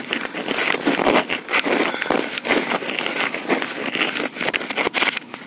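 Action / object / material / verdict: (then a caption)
tap / plastic handheld audio recorder / plastic / none. Long pink acrylic nails, mostly on one hand, tap and scratch the top of a small black plastic Tascam recorder held close to its built-in microphone. The result is a dense run of quick, crackly clicks and scraping rasps, bright and thin with almost no low end. Each tap dies away almost instantly.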